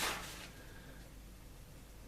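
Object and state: Nothing is struck.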